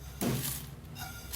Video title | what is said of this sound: . Tablettes de Dubaï 8 juillet 2025 | On entend que c'est bien croustillant.